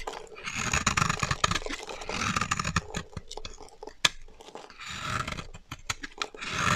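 A solid pink rectangular bar of dry soap stamped "BERRY" is held in one hand and scraped and shaved with a black-handled blade. Dry, crackly scraping comes in broad gritty swells, broken by many sharp clicks and snaps. Curls and powder of soap fall onto the pile below.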